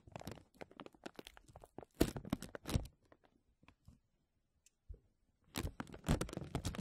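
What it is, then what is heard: Crinkling plastic vacuum-seal bag. Fingertips press and crinkle a thin, clear, embossed plastic vacuum-seal bag stretched over a mesh microphone dome. This produces dense bursts of crisp crackling and crunching. The sound pauses in a near-quiet stretch around the middle, then builds back into a loud flurry at the end.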